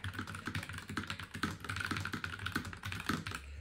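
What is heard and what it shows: Both hands type with their fingertips on a low-profile NuPhy Air96 mechanical keyboard. The keyboard has plastic keycaps in a metal frame, is about 40 cm long, and lies on a wooden table. Rapid, overlapping key-press taps run steadily throughout, with short clicky attacks over a soft low thud.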